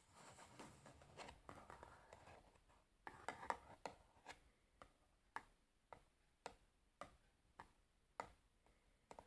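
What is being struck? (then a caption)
Cardboard matchbox. Long fingernails scratch across the top and sides of a large rectangular cardboard matchbox with a printed label, a hollow box holding matches, held in both hands, making soft continuous scraping. Then the nails switch to a series of crisp, dry taps on the box, each one short and clicky with almost no ring.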